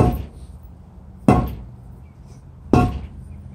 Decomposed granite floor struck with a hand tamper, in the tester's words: really got kind of a dull thud and then a real dull thud